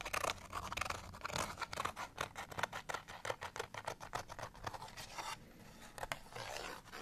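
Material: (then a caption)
Cardstock. A folded cardstock bottle tag is scratched with fingernails, first while held and then laid flat. A rapid run of dry, bright, papery scratches with a brief soft rasping pause near the end before one last longer scrape.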